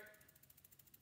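A copper refrigeration filter drier tube is shaken, and the loose desiccant beads inside rattle in a rapid series of about ten small, bright clicks. Because of the beads, and sometimes a steel filter, it cannot be sold as clean copper as is and would be penalized until they are removed.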